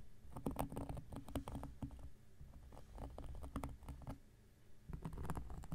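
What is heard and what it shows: A large, round, flat coaster of solid cork lying on a surface is scratched with an X-Acto knife blade. Quiet, dry scratching comes in quick, uneven strokes with short clicky edges and a muffled low body, pausing briefly near the middle before the strokes pick up again.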